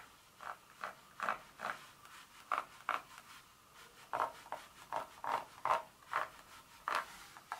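Two long nail tips scratch across the segments of a solid dark chocolate bar lying flat, making thirteen short, dry scrapes at an uneven pace. Each scrape is a brief burst centered in the mid range with a little high hiss. The sound stops almost at once after each stroke, with no ring.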